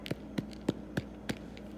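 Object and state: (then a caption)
Hollow-sounding baked soda bread loaf. Five dull, muffled taps on the bottom of a cooled gluten-free Irish soda bread loaf produce short, low thuds with almost no ring. The loaf sounds hollow, a sign it is baked through.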